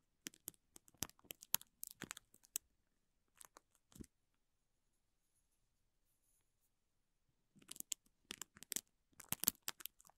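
A spoolie mascara brush held in the fingers brushes and scratches the thin clear plastic wrapper around a small green vinyl toy. Quiet, bright, crinkly scratching and tearing-like rustles come in quick bursts. They stop for a few seconds of near silence, then return as a second flurry.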